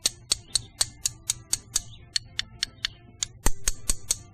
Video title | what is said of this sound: Bullet Casting: Separating Wheel Weights | zinc much different sound and steel will be the same way as the zinc